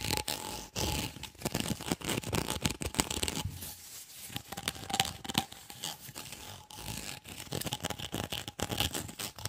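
Fingernails scratch rapidly along the ridges of an empty, white, ribbed hollow corrugated plastic tube held close to the mic. The result is a dense, bright, raspy ratcheting of quick clicks with almost no ring, in bursts that swell and ease over the clip.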